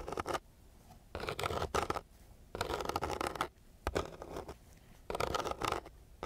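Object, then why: Sandpaper sheet scratched with a wooden stick. The end of a thin wooden stick scratches across a flat sheet of coarse, gritty sandpaper, with a nearby microphone left untouched. Five bursts of rough, raspy scraping are separated by short quiet pauses, each carrying a dense grainy texture with a midrange tone.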